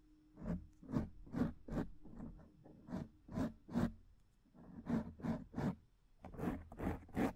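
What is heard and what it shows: Long painted nails scratch the top and sides of a black foam microphone windscreen, making about fifteen short, dry scratching strokes at an uneven pace. Each stroke is a soft, rasping burst weighted toward the low and middle range, with brief brighter edges and no ring after it.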